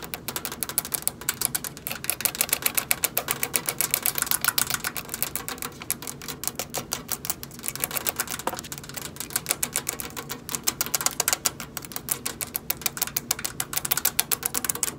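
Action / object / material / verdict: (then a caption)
tap / stainless steel microwave / stainless steel / none. Long acrylic nails rapidly tap a hollow stainless steel microwave, working along the edge of the front control panel, where the keypad area may contain some plastic, and across the side metal panel. The result is a dense stream of short, bright clicks with almost no ring, coming in quick, uneven bursts with little low end.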